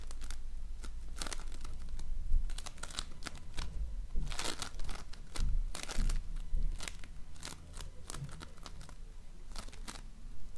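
A donut-shaped ring of floam, polystyrene foam beads in slime, is squeezed and shaped with fingers. It gives dense, irregular crinkling and crackling pops with bright, sharp snaps over a low, muffled squishing rumble, coming in uneven bursts throughout.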